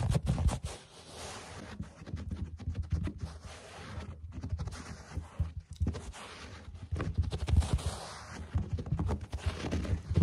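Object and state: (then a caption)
Fabric carpet. Fingertips and short nails of both hands scratch and scurry across a low-pile beige carpet on the floor, moving toward the camera. The result is a dense, rapid, low-pitched scratching and rustling that swells and fades in bursts, with soft thumps where the fingers land.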